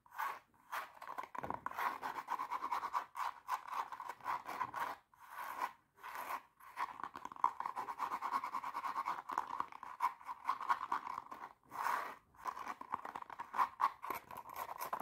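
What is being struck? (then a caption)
Glitter fabric high-heel shoe. Long teal nails rapidly scratch and tap the glitter upper of a medium-size silver glitter-covered stiletto pump, held hollow and empty in one hand. The result is dense, crunchy, gritty scratching centered in the midrange, broken by brief pauses, with sharp little taps and almost no low end.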